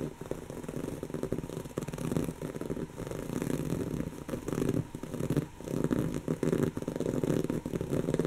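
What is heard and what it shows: A soft, stuffed, brown textured woven-fabric pillow is scratched with the long natural fingernails of both hands. The result is a steady, dense, scratchy rustle that swells and dips, with most of its energy in the low and middle range and very little brightness.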